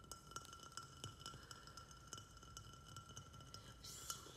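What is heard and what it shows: Fingertips and nails tap quickly around the walls of a small white glazed ceramic pot on a matching saucer, filled with soil and a snake plant. The result is a rapid series of short, bright clinks, each ringing briefly with a steady tone around 1.4 kHz over a soft low rumble. Near the end a brief hiss of bright noise joins the taps.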